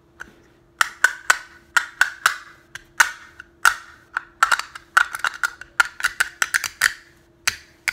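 A small, hollow, teal and green box-shaped plastic case is held in both hands while fingertips click it and tap it open and shut. The result is a quick, irregular run of sharp, dry, bright clicks with a hollow tone around 1.5 kHz that dies away almost instantly. A faint steady hum sits underneath.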